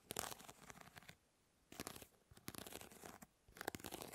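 Long nails scratch across the grid mesh of a hand-sized plastic fly swatter, making quiet, dry, bright raspy ticking. The scratching comes in three short bursts separated by brief silences, and each scrape stops dead with no ring.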